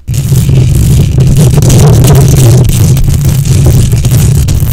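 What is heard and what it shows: Long manicured nails scratch fast with both hands across the hollow metal mesh grille of a silver USB condenser microphone on a stand. The result is a loud, continuous, dense low rumble with a steady hum around 137 Hz and faint bright scratchy texture on top, holding steady after a quick start.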